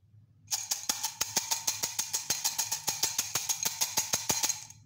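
Small silver aluminium coins are dropped by hand from cupped fingers into a white ceramic mug with a blue handle that is partly full of coins. About 27 quick, bright metallic clinks follow one another in an uneven stream, each ringing briefly with a high, chiming tone before the next lands.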